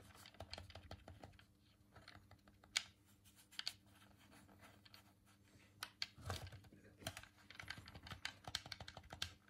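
A hand-sized, hollow white plastic Sega Dreamcast game controller is held in both hands while fingertips and thumbs press and click its colored face buttons and D-pad. Quick, bright, dry plastic clicks come in irregular bursts with a quieter pause in the middle, over a faint steady low hum.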